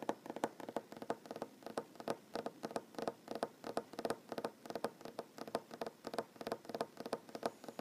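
A solid wooden tabletop with board seams is tapped and lightly drummed with short nails and fingertips, mostly with one hand. A quick, uneven run of short, dry knocks centers around 470 Hz with brief bright clicks on top. Each tap dies away almost instantly, with no low thump.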